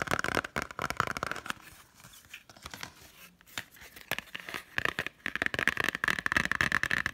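A hand-held Totoro Blu-ray in a green printed cardboard slipcover is fast-tapped on its front with long nails. The result is rapid, irregular bursts of crisp, dry clicks, a quieter, softer stretch in the middle, and then another flurry of quick taps.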